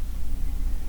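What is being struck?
Nothing is struck.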